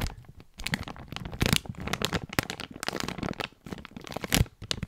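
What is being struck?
Clear plastic zip bag.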